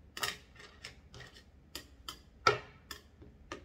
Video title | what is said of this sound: Bandai Super Imaginative Chogokin (SIC) Kamen Rider Alternative and Kamen Rider Ryuga | benar-benar suaranya besi itu beda ya